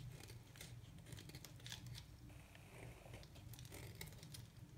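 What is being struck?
Bar of soap cut with a metal knife.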